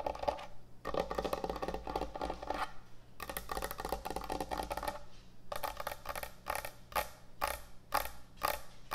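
Long nail tips scratch and tap across the top and front edge of a large, thick, solid end-grain hardwood butcher block cutting board. Dense bursts of dry, rustling scratching come first, then give way to quicker, more spaced-out woody taps with a bright, short-decaying knock. A low, steady hum sits underneath throughout.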